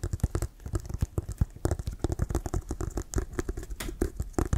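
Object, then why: Leather American football. Fingernails scratch and tap on the sides of a hollow, inflated brown leather Wilson American football near the laces. A rapid, uneven patter of short, dull, low thuds mixes with brief scratching, and each tap dies away almost at once.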